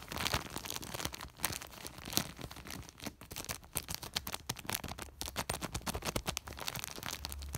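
Fingertips scratch, rub and pinch the surface of a large white woven polypropylene plastic sack. The result is a dense, fast run of dry crinkling and scratchy rustling, bright and hissy, with sharp crackling bursts and brief pauses throughout.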